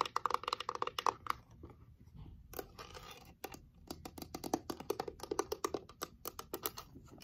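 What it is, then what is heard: Wooden box with glass lid. Long nails tap and scratch a small reddish wooden box with a heart-shaped glass window in its lid and a painted rose, working over both the wooden sides and the glass lid. Quick bursts of dry, bright clicks fall in rapid runs, broken by a softer scratching stretch in the middle. Each tap dies away almost instantly, with a mid-pitched tone around 940 Hz.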